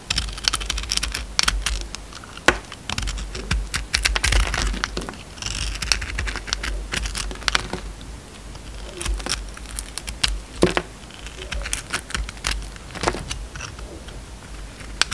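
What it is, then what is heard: Bar of soap being cut. A utility knife carves and scrapes a solid rectangular bar of soap, glittery purple over light blue. Dense, short, crisp clicks and scratchy crinkling cuts repeat throughout, with bright edges, under a steady low hum.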